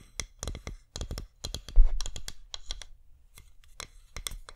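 Long nails tap quickly on the side and rim of a flameless wax pillar candle in irregular bursts. Each tap is a dry, bright click with a soft low thump underneath, and it dies away almost instantly. A slightly louder scratchy cluster comes near the middle before the taps continue in quick groups.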